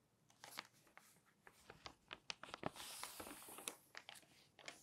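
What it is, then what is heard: Glossy magazine pages crinkling. Fingertips and long nails turn and brush the pages of an open glossy paper magazine lying on a table. The result is a quiet run of quick, irregular crinkles and sharp paper snaps, bright and papery with almost no low end, plus a brief smoother rustle midway through.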